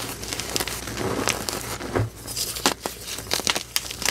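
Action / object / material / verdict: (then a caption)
scrape / crumbled gym chalk powder and chunks / chalk / none. Bare fingertips scoop, squeeze and crumble a pile of pale green dyed gym chalk powder and crumbled pasted-chalk chunks on a flat surface. Dry, bright crunching and crinkling crackles come in quick, irregular bursts over a soft gritty hiss.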